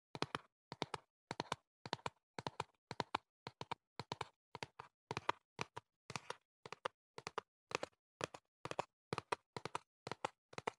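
Fingertips and nails tap the back panel of a hollow printed cardboard box held in the hand. Quick bursts of two or three dry, hollow taps repeat steadily with short pauses between them. Each tap dies away almost instantly, with a mid-range knock and little low end.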